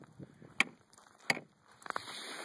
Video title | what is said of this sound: How to locate a Beaver run. | kind of hollow sounding here a little bit but you can see here that the ice is well over 4 in six